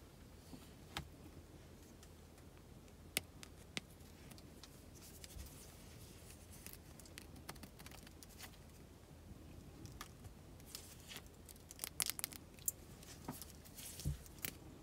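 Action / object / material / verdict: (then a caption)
tap / solid bar of soap tapped and scratched with fingernails / soap / none. Long acrylic nails tap and scratch an unwrapped, hand-sized solid green Lifebuoy soap bar with an embossed logo and a textured back. Quiet, sharp, bright clicks and scratchy ticks come and go, with tight, dry bursts clustering toward the end, over a faint low hum.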